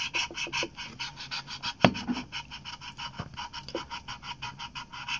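An Olympus PEN EE, a small, hollow compact film camera with a chrome metal top plate and leatherette body, is held in both hands and tapped and scratched with fingertips and short nails on the top plate and body. A steady run of about twenty quick, soft ticks and scratches sounds bright and rustly, with one sharper, louder knock near the two-second mark.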